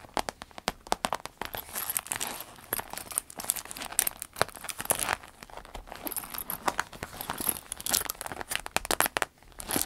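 Long red acrylic nails tap and scratch the surface and zipper edge of a small clear vinyl zip pouch with black trim, a gold zipper and a hanging key charm, packed full of cosmetics. The result is a dense run of quick, dry crinkling taps and scratchy rustles, bright and crisp with almost no low end, and each tap dies away instantly.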